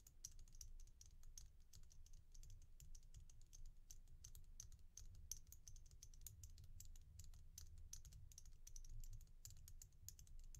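A single stretch bracelet of solid, glossy red-black oval resin beads, held in one palm, is tapped and scratched with long painted nails. Dense, rapid, bright clicks and ticks patter over a low, steady rumble, with no clear pause between them.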